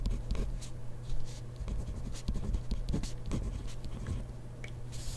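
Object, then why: Ballpoint pen on spiral notebook paper. A ballpoint pen writes rapidly on a grid-paper page of a spiral notebook, the pen tip scratching the paper in a steady stream of short, dry strokes. Brief bright scratches ride over a constant low hum.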